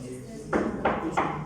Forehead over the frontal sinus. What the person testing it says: ¿cómo es el sonido? Timpánico, huecos.